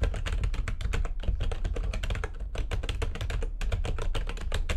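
Rapid typing with long nails and fingertips on a full-size plastic backlit computer keyboard. It makes a dense, continuous run of short, sharp key clicks over a strong low rumble, with a brief pause partway through. Each keystroke decays almost instantly.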